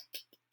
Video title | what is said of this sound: 10.2 Math Lesson | I can knock on it it's hard it's solid